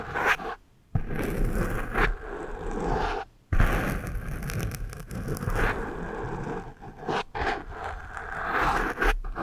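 The eraser end of a pencil rubs across the porous foam windscreen of one microphone. It makes a dense, rough scraping rustle with a heavy low rumble, broken by two brief silences near the first and third seconds.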